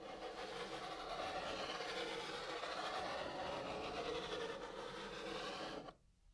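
A hand draws a snail in white chalk on the brown surface of a cardboard box, using long, curved scratching and rubbing strokes. A steady, dry rasp runs for about six seconds with a bright, gritty texture, then cuts off abruptly into near silence.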